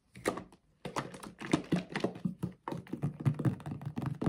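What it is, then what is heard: Plastic bottle of thick liquid, shaken. A blue plastic Dr Teal's foaming bath bottle, about 1 L with a black cap and filled with thick liquid, is shaken with both hands. It makes rapid, dull, low thunks and thick sloshes that come in quick bursts, with brief pauses in between.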